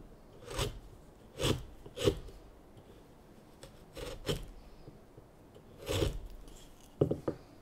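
A chisel shaves the end of a solid, light basswood spoon blank in a series of short, rasp-like scraping strokes, separated by quiet pauses. Each stroke has a dull low body with a bright, high scratch on top.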